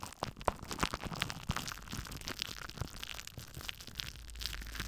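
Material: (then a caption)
Plastic. A thin sheet of clear plastic cling film, crumpled and held in both hands just above a metal-mesh microphone, is scrunched, rubbed and crinkled by the fingertips and seems to brush the mic grille. Dense crackling and crinkling fills the clip with sharp, bright clicks over a low rumble, a few louder crunches standing out early on.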